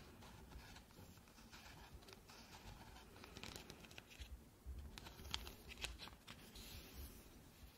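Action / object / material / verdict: scrape / hollow plastic lamp / plastic / none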